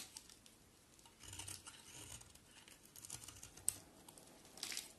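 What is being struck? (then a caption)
Bar of soap. A box cutter blade carves the edge of a solid white oval bar of soap in scraping strokes. The result is a quiet, bright, dry crinkling scrape that rises in soft bursts, with a sharp click partway through and a louder scrape near the end.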